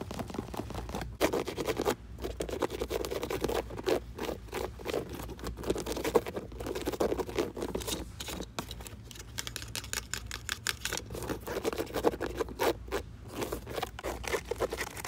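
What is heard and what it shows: Fingertips and nails fast-scratch and tap the side of a hollow, empty grey Skechers outdoor hiking shoe with a mesh and suede upper and a rubber sole, resting on a shelf. Dense, rapid scratching and pattering with short tap accents continues throughout, centered around a mid-range tone with a faint low hum underneath.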